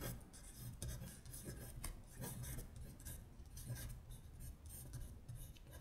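Long pointed nails scratch across a paper worksheet listing the months in Korean, lying flat. Quiet, dry rasping strokes come in a steady run of short bright bursts over a soft low rumble.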